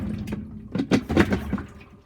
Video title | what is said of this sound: GE 4.6 Washer 2018 Review | Can you hear it sloshing? There's actually water left.